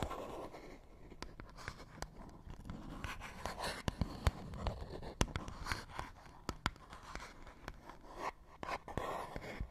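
A fingernail scratches across a small, hollow, printed paperboard box. Quiet, dry scratching and rubbing are dotted with short, sharp clicks and taps that die away almost instantly, with a soft low rumble underneath.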